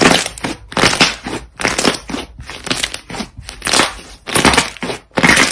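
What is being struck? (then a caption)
Soft butter slime. Soft, solid pale-yellow butter slime on a light surface is folded and squeezed between both hands with the fingers and knuckles. It gives loud, irregular bursts of crackling air pops with a bright, crinkly texture. Short quiet gaps fall between the squeezes.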